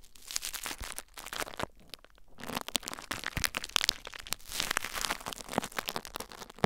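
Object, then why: Plastic bubble wrap. Fingertips and nails lightly scratch and crinkle clear plastic bubble wrap mounded over a recorder. The result is a dense, bright stream of crisp crinkles, crackles and sharp little snaps, with brief quieter gaps between bursts.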